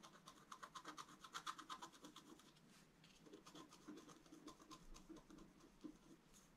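A wooden stylus scratches the upper area of a flat, thin, solid black wax-coated scratch-art paper card. It makes a quiet series of short, dry, scratchy strokes in an uneven rhythm of roughly three per second. Each stroke has a raspy tone around 1 kHz with a bright hiss and no ring after it.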